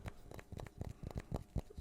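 A collection of small wooden pieces, called "wood soup," is tapped about nine times in quick, uneven succession. Each tap is soft, dull, and low-pitched, with almost no ring and very little brightness.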